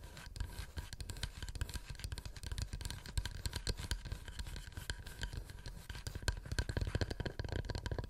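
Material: Wood.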